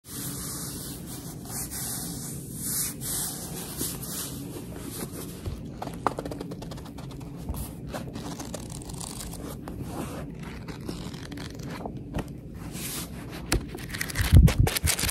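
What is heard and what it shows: Long red-painted nails and fingertips rub and scratch the illustrated card cover of a medium paperback book, then move to the edges of its thick, solid stack of paper pages. A steady soft rubbing hiss with a low, bass-heavy undertone runs throughout, dotted with light scratchy ticks that grow louder and crackly near the end.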